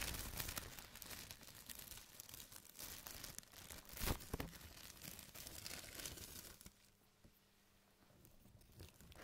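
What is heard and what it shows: A large, thin, white printed plastic bag, empty, has its film lifted, folded and crumpled with the fingers. It makes dense, bright crinkling and crackling, with the loudest crunches near the middle. The crinkling then softens to sparse, quiet rustles toward the end.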